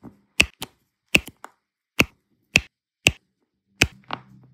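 A pink plastic multi-placer tool taps and presses small, solid turquoise resin diamond-painting drills down onto an adhesive canvas. Eight sharp, bright clicks come at an uneven pace with almost no ring, and the clip ends with a softer scrape and a faint low hum.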